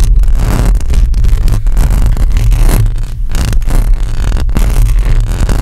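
Long acrylic nails on both hands scratch a hollow metal mesh microphone grille. The result is a dense, continuous, loud rasping and rubbing with a heavy, boomy low-end rumble around 117 Hz and little bright content.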